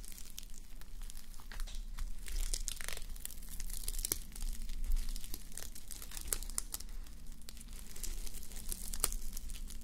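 Long nails and fingertips scratch and rub across a flip-sequin sleep mask, plastic sequins on fabric, worn on a mannequin head. Dense crinkly scratching and quick bright clicks run continuously over a steady low hum. The sound stays at an even, quiet level throughout.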